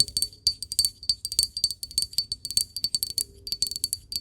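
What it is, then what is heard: Glass object tapped. A glass object is tapped in a quick, uneven series of about two dozen light clinks. Each clink is bright and high-pitched, with a faint ringing tone, and dies away almost at once.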